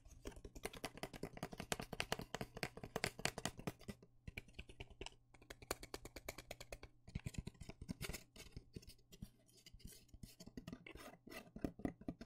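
A small, hollow, empty white cardboard box with an open cut-out window is held in one hand and tapped and scratched with the fingertips and nails of the other. Quick, dry, papery taps and scratches come in dense flurries, pausing briefly around 4, 5 and 7 seconds. A faint steady low hum runs underneath throughout.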